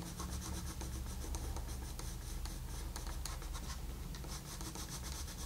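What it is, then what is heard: Colored pencil rubbing on a paper page. A colored pencil tip makes short rubbing strokes on a flat paper coloring book page. The result is a steady, soft scratchy rasp with bright flecks of grain over a low, muffled rumble, continuing without a break for the whole clip.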